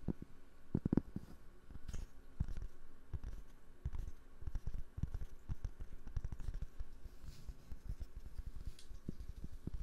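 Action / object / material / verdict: tap / cork trivet / cork / none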